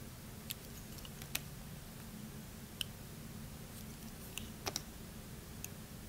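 A metal utility knife blade scrapes and cuts thin slices from a hand-sized, solid, translucent orange glycerin soap block held in fingers with long red nails, with a pile of shavings nearby. Sparse, sharp, bright clicks and snaps with very short decay stand out over a steady low hum.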